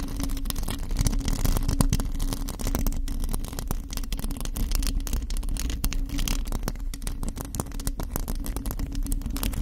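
A bare, hollow black metal mesh microphone grille is scratched with long acrylic nails from both hands. The result is a dense, continuous stream of rapid scratchy clicks over a heavy, boomy low rumble with a steady hum near 250 Hz. Faint bright crackle sits on top.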